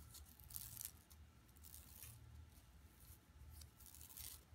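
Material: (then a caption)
Plastic. Long nails scratch across the woven mesh of an empty, flat, yellow plastic mesh tote bag lying on carpet. Quiet, bright, rasping scratches come in repeated bursts over a soft, low rumble.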